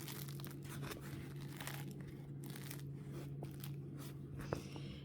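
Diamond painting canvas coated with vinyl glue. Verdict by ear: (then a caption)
Stiff. A diamond painting canvas finished with diluted vinyl glue (30 g glue to 10 g water) is handled close to the mic, giving a steady run of dry crackling and crunching over a low hum. The coating has made the normally supple canvas stiff and crunchy, unlike the other glues, which stay soft.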